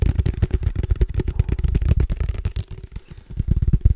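Fingertips tap rapidly on a case for padel balls, making a quick run of dull, low thuds with almost no high-end ring. The tapping softens briefly near the middle, then picks back up with strong, deep knocks.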